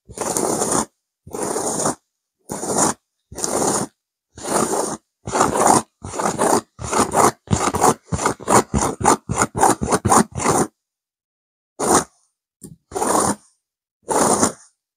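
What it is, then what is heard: Velvet cushion scratched with nails. Long nails of both hands scratch a stuffed pillow with a blue burnout velvet cover and a cream petal pattern. Dry, raspy scraping strokes come in separate bursts, speeding up into quick short scratches in the middle, then pausing before a few slower strokes at the end.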